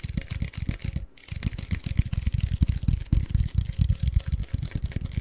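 Fingertips and short nails of both hands scratch and tap a tall, hollow, cylindrical Pringles chip can made of a cardboard tube with a paper label. A rapid, irregular stream of dull, low, hollow thumps with very short decay is heard, mixed with faint scratchy texture and a brief pause near the one-second mark.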